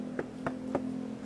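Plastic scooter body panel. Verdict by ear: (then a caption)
Sturdy. Knocking on the plastic body panel of a retro-style U-Winfly electric scooter produces three short, dull knocks. The panel sounds like plastic and comes across as fairly sturdy.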